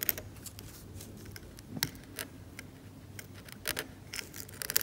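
A metal scalpel scrapes the paint of a cracked, varnished oil painting on canvas in short strokes. Dry, bright scratches and ticks sound over a faint low hum and leave no ring.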